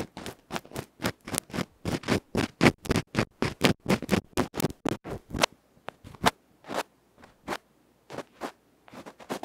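A bamboo ear pick rubs and scratches the felt face of a tiny electret microphone capsule, a metal can with a felt cover, held between fingertips. About 25 fast, rough scratching strokes sound as short, dry, broadband rasps. They come in a dense run for the first half, then space out with quiet gaps.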